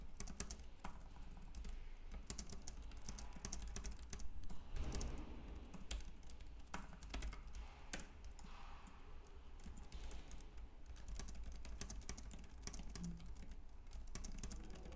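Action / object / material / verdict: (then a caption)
tap / plastic computer keyboard / plastic / none. Fingertips type continuously on a white, compact plastic Logitech K380 keyboard with round keys. A steady stream of quick, light plastic key clicks runs for the whole clip, sitting over a constant low hum.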